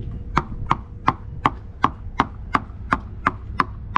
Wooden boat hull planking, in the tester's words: that's the kind of sound you want to hear. A good sharp ringing sound. You do not want to hear a sort of dead sound.